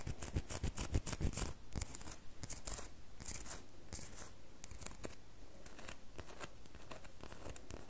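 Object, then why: Bar of soap. Long fingernails scratch and tap on a solid red bar of soap. Quick, dry scratching bursts and short tapping clicks with a bright hiss come thick and uneven in the first two seconds, then settle into a steadier, softer scratching.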